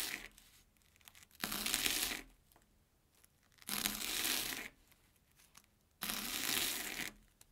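A steel kitchen knife finely chops crunchy, airy Banana Kick corn puff snacks on an orange plastic board. Three bursts of bright, crackly crunching stand out, separated by quiet pauses.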